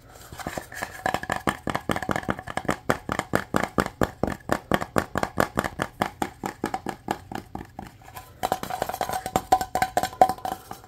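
A small, light wooden box with engraved text and a black cord is held in the hands and tapped quickly with fingertips and nails. About fifty-five dry, hollow knocks centred near 750 Hz come in rapid, uneven bursts, each dying away almost at once. There is a brief lull just before 8.5 seconds, then the tapping picks up again.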